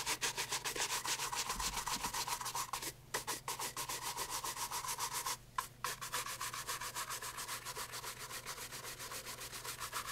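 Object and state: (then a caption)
Leather loafer being brushed. A brown leather loafer held in hand is brushed with a horsehair shoe brush over its leather sole and upper. Quick, steady back-and-forth strokes make a bright, scratchy swishing at about three to four strokes per second, with brief pauses near 3 and 5.5 seconds.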